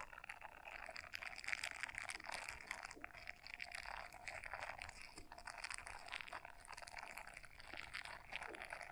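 Long fingernails scratch the bristles of a small blue silicone scrubber brush folded in half in both hands. The result is a dense, continuous run of crisp, bright scratching and crackling, with the loudness swelling and easing in waves and very little low end.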